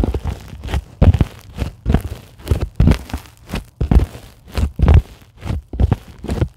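Long glittery acrylic nails of both hands scratch a flat, white, solid closed-cell polyethylene foam sheet. Repeated short, dry scratching strokes come at an uneven pace with soft, low thumps, and each stroke dies away quickly.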